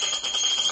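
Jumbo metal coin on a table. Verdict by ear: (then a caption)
Solid. A 7.5 cm jumbo magic coin made to look like a real quarter is tapped on a table, giving a bright metallic ring with a high, steady tone. The single tap rings on through the clip with a full, heavy-metal sound.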